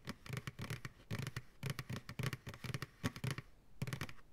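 Fingertips and nails tap and lightly scratch the base and sides of a large, empty white plastic ice cream pail held upside down. Quick bursts of taps come in clusters, each with a hollow, low thud and a dry, bright clicking edge that stops almost instantly, followed by a short pause and a final run of taps.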